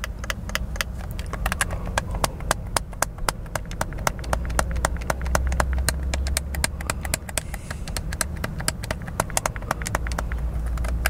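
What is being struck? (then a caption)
Plastic handheld game controller. Thumbs rapidly press and click the buttons and sticks of a hollow, white plastic handheld gamepad held in both hands inside a car. Sharp, dry clicks and taps come about four times a second in an uneven rhythm. They sit over a steady low rumble.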